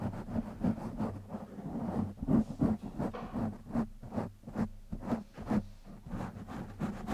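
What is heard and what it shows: Fingertips of both hands scratch a black foam windscreen on a microphone. The result is a run of uneven, rasping scratch bursts, about three per second, over a steady low hum-like tone.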